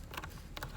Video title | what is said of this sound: Mustang S550 C Pillar Rattle Fix | you get a nice solid thud instead of a rattle